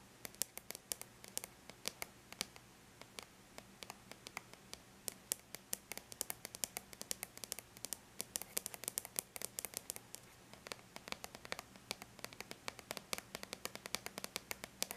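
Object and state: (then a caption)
Aluminum laptop lid. Long bare natural nails tap rapidly and lightly on the flat silver-gray aluminum lid of a laptop. The result is a quiet, dense stream of sharp, bright clicks that die away almost instantly, over a faint low background hum.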